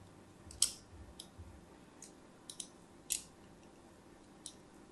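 A fine blade scores lines along the edge and face of a solid white bar of soap held upright. It makes eight short, crisp, high-pitched scratches with quick crackling tails, spread unevenly over a faint steady hiss.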